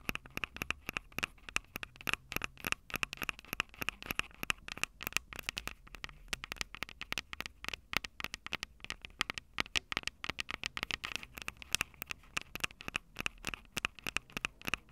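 Long purple nails tap and scratch the two metal mic capsule heads of a small Tascam DR-05 handheld recorder with a plastic body. The result is a fast, dense stream of sharp, bright clicks and scratchy crackles with almost no ring, heard close up and upfront with very little low end.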